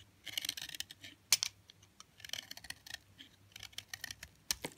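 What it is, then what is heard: Hard, dry bar of soap. A utility knife blade scrapes and cuts along a thin, solid slab of hard, dry white soap held in the hand. It makes a quiet, rapid run of crisp, bright clicks and dry scratches. One sharper snap stands out near the start and another near the end, and each sound dies away almost instantly.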